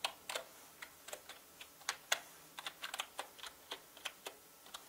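Fingertips of both hands type on a full-size black plastic mechanical gaming keyboard with plastic keycaps. About 19 sharp, bright clacks come in an uneven rhythm, each dying away almost instantly with no low-end thump.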